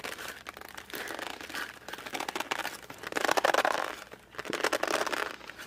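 A closed cardboard puzzle box is gripped at its edges, squeezed and flexed with fingertips, and turned over and back. It gives a steady run of dry crinkling and creaking in the midrange, swelling into louder squeezes around the middle and again near the end, with no low rumble.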